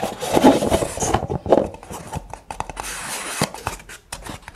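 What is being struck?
Kraft paper cup.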